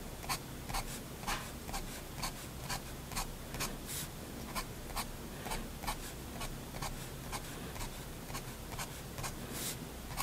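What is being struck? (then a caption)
Paper drawing sheet scratched by a steel pen nib. A steel fountain pen nib scratches short, repeated brick-texture strokes across a flat white drawing paper sheet. About a dozen brief, dry scratches, each bright and quickly gone, come at an uneven pace over a low steady hum.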